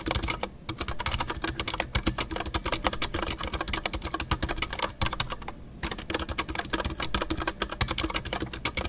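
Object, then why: Mechanical keyboard with PBT plastic keycaps. Fingertips type continuously on a full-size Ducky One 2 mechanical keyboard with a white case, MX Brown switches and PBT plastic custom artisanal keycaps. The keystrokes are a dense, crisp clatter of short clicks with deep thocks and bright ticks. The typing pauses briefly near the start, around the 5-second mark and just before 6 seconds.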